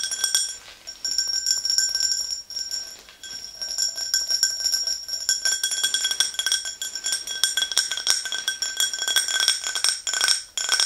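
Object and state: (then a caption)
Clear drinking glass. Long green nails tap rapidly and continuously on the sides of an empty, hollow, tall clear glass tumbler standing on a fluffy rug. The result is a dense stream of light, bright clinks over steady high ringing tones around 3.3 kHz, with each tap dying away quickly and almost no low end.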